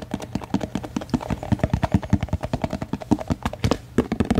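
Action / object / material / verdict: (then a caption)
tap / thin plastic food container / plastic / none. A small, translucent white deli-cup style plastic food container, hollow and apparently empty, is held in both hands and rotated while fingertips and nails tap and scratch it quickly. About thirty fast, dry, hollow taps with a low-mid thud and almost no ring follow one another in an uneven, rapid stream, with faint scratching between them.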